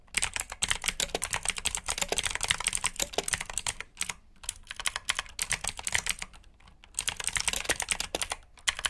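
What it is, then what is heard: Mechanical keyboard with clicky blue switches. Fingertips type quickly on the keycaps of a black plastic RGB mechanical keyboard with blue switches. The result is a rapid, bright clicky clatter of many short keystrokes, easing into sparser, quieter taps midway before the fast typing picks up again.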